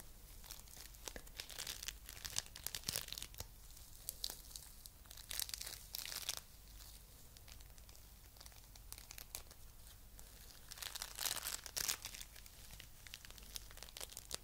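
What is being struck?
Foam bead clay lump.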